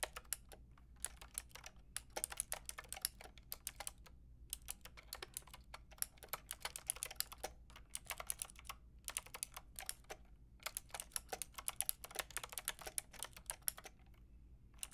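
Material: Plastic.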